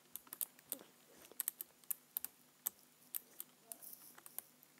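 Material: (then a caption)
Plastic. Fingertips tap the keys and space bar area of a black plastic computer keyboard in a quiet, irregular rhythm. About 21 short, bright plastic clicks sound, each ending almost instantly over a faint low hum.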